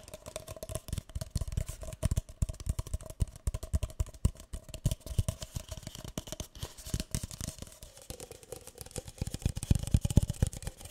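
A single empty, hollow, light green paper cup is held in both hands while fingertips and nails tap and scratch along its side and rim. The result is a quick, irregular patter of soft, dull, low thuds with short, dry scratching between them and a faint steady tone underneath.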